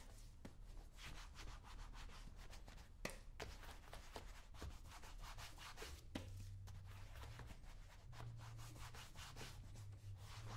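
Fingertips rub in circles over the surface of brown shoe wax in a small, round, open metal shoe polish tin held in the other palm. The result is a quiet, steady, grainy rubbing with a bright, scratchy texture, occasional sharper ticks, and a low hum underneath throughout.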